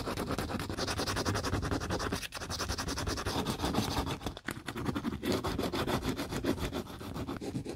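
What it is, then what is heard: Plastic shoe heel being sanded. Gloved fingertips sand and rub the bare surface of a solid pale plastic heel on a tiger-print boot with sandpaper, as part of restoring a dog-bitten shoe. Quick, repeated scratchy strokes follow one another in a steady, gritty rasp with a low body, broken by brief pauses.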